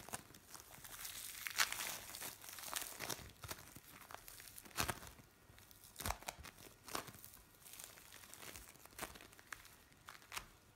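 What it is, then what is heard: Bead play foam. A lump of blue bead play foam is squeezed, pulled and pressed by hands on a metal tray. It makes bright crackling, crinkling and tearing sounds with sharp crunchy pops, over a quiet background.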